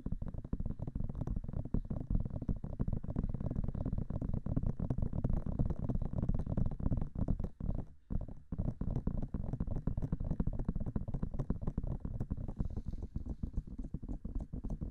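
Long manicured nails and fingertips tap fast on the hollow white silicone ear-shaped covers of a 3Dio-style binaural microphone mounted on a black metal body. The result is a dense, continuous stream of deep, muffled thumps with quick, soft clicks. There is a brief pause near the middle before the rapid tapping resumes.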